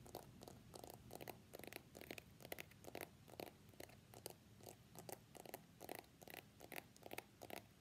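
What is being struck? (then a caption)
Smartphone in a plastic case. Fingertips and short nails tap rapidly on the back of an iPhone X in a pale green plastic case with a pink flower print, held in both hands above a black desk mat. The small, hollow-sounding device gives quick, irregular clicky taps with a mid-range body and bright, crisp attacks over a faint low rumble.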